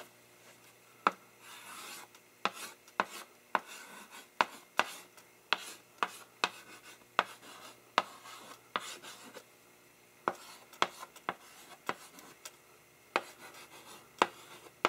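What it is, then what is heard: Chalk writing on a blackboard. A gloved hand writes "Stay tuned for" in chalk on a wood-framed blackboard held upright by another gloved hand. About twenty sharp, dry chalk taps sound against the flat board, with soft gritty scratching strokes between them.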